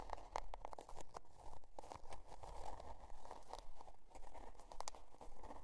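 Long dark nails scratch the scale-pattern cardboard cover of a spiral-bound notebook resting on faux fur. Quiet, dry scratching strokes repeat at a steady, slightly uneven pace of about two per second, each with a faint raspy tone near 880 Hz over a low rumble, stopping dead with no ring.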